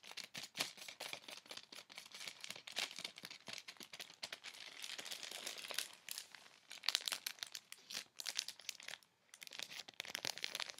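Fingertips and nails tap and scratch quickly across a clear plastic bag sealing a dark knit garment with white 'S' printed tape, lying flat on a bed. A dense run of bright, crisp plastic crinkles and sharp taps follows, with a brief pause near the nine-second mark before the rapid crinkling resumes.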